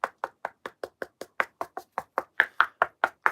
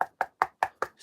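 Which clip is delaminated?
The first.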